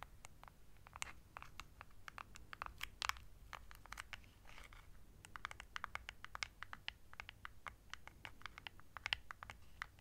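Long nails tap and scratch a small hollow plastic LED remote control with colored buttons, held close to the mic. A quick, uneven stream of sharp, bright clicks sounds with soft scratchy rustles between them. Each click stops dead over a faint low hum.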